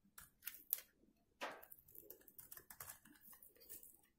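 A metal box-cutter blade scrapes curls from a carved hollow in the face of a solid, rectangular, dried white soap bar held in one hand. The result is a quiet run of short, dry, crisp scratching strokes, bright and hissy with almost no low end. A louder, longer scrape comes midway.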